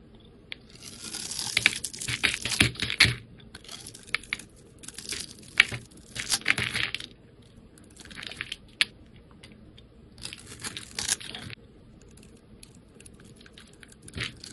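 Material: Soap.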